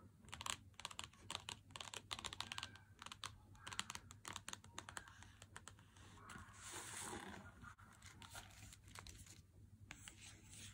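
Fingertips and nails tap and scratch the cardboard front of an unopened Lindt 90% chocolate bar in its cardboard sleeve, first lying flat on a table, then lifted and held close. Quick, dry, bright taps die away almost instantly, with a softer stretch of continuous scratching in the middle. A steady low hum runs underneath throughout.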